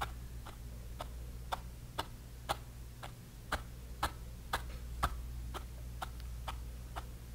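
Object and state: Brush stippling on a canvas panel.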